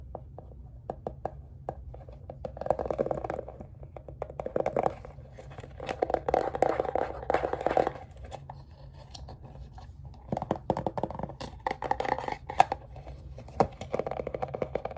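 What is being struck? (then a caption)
Roll of painter's tape in a plastic case. Fingernails tap and scratch a roll of green FrogTape painter's tape in a round green plastic case, held in the hands, raking across both the plastic case and its label. Quiet, dry, clicky taps alternate with bursts of rapid scratching that swell and fade throughout the clip. The sound centers in the midrange and dies away almost instantly.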